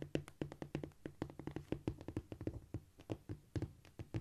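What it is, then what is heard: Cork floor. Long, shiny almond-shaped nails on both hands tap and scratch across a flat, solid cork floor. About 29 quick, dry taps land in an uneven, scurrying rhythm. Each is a short, muted thud with a low body and no ring.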